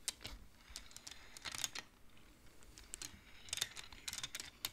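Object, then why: Wooden abacus beads on metal rods. Fingertips slide colored wooden beads along the metal rods of a large wooden-framed abacus, knocking them together. A quick series of dry, bright clacks sounds in small clusters, each dying away almost at once over a faint low background.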